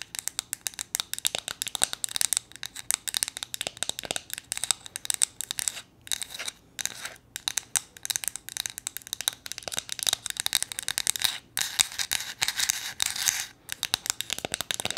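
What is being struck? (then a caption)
Small flat painted wooden figure. Long nails tap and scratch across the painted face of a small, solid, flat wooden gnome figure. The result is a dense run of quick, dry, bright clicks and scrapes with almost no low end and no ring, broken by a few brief pauses.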